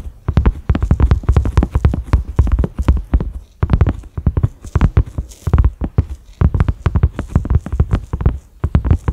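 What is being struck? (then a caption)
Silicone pot lid. Fingertips and nails of both hands tap quickly on a large flat cream silicone pot lid with concentric ridges and a black center knob. The result is a rapid patter of dull, deep thuds with almost no ring, broken by short pauses before the tapping resumes.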